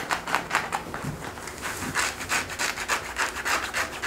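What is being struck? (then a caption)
Denim jeans fabric. Fingertips and short nails scratch and rub worn blue denim jeans over a thigh and hip, working around the back pocket. A quick series of dry, bright rasping strokes follows an uneven rhythm of about three per second, with each stroke cutting off quickly and no ring after it.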